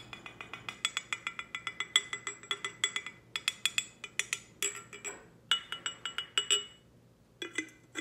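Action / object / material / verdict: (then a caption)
tap / glass tumbler / glass / none. A glass tumbler is tapped in quick, uneven runs of light taps, each giving a bright, high clink with a brief chime-like ring. The tapping pauses for a moment near the end, then a few final clinks follow.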